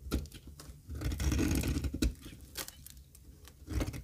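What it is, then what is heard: Dry soap bar being shaved. A solid, square, dry cream olive oil soap bar held in hand is shaved into curls with a metal box-cutter blade. The result is a run of crisp, dry scraping and crackling strokes, with a denser stretch in the middle. Short bright snaps cut through a soft, low-heavy rasp.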